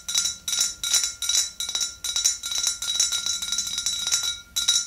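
Long green nails rapidly tap both sides of the body of a tall, clear glass swing-top bottle filled with pale yellow liquid. The result is bursts of bright, high clicking clinks with very short ring, coming in quick, uneven clusters over a faint steady high tone.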